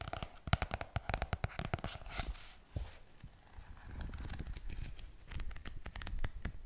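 A medium pink paperback book with a glossy card cover is held upright, solid and closed, and turned between its front and back covers. Fingertips and nails tap and scratch the cover, giving quick, dry clicks and papery scratching with a low thump behind them. Each contact stops almost at once with no ring.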